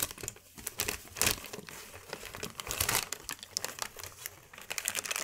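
A large, thin white sheet of wrapping paper is lifted, folded and handled with the hands, giving a steady stream of bright, papery crinkles and crackles. The sound is mostly high and crisp, with little low end, rising in short louder bursts as the sheet is creased and moved.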